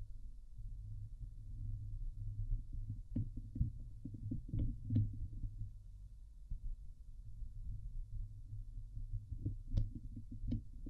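Long nails scratch the hollow, domed wire-mesh grille of a Blue Yeti microphone. The result is a dense, boomy scraping rumble sitting low around 110 Hz, with scattered sharp ticks and clicks that briefly flash up into bright highs. The scratching continues steadily throughout.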